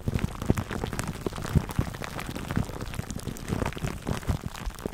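Fingertips scratch clear plastic cling wrap stretched over a black foam microphone windscreen. The result is a dense, continuous crackle of small, sharp pops and rustles, heavy in the low end with a faint bright hiss on top. The crackle sounds close-up and steady throughout.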